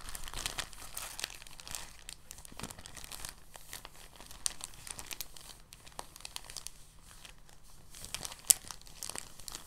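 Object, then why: Thin plastic bag. A thin, translucent, empty plastic bag is pinched, folded and crinkled by fingertips. It makes soft, continuous bright crinkling with many small crackles and an occasional sharper snap over a faint low hum.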